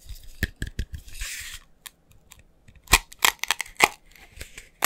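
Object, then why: Glass coffee jar. A glass coffee jar is tapped rapidly, giving about a dozen sharp, bright clicks with a very short ring and a mid-pitched glassy tone. Between the taps there is a brief rough, scratchy rustle.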